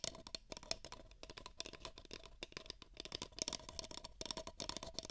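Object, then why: Empty paper cup. Two identical empty beige paper cups, hollow, are scratched with long nails while held against the microphone ears. Dense, rapid, dry scratching and rattling fills the clip, bright and crackly with a faint hollow tone. The bursts overlap too closely to count.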